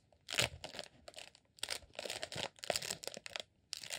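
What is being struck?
Beeswax sheet.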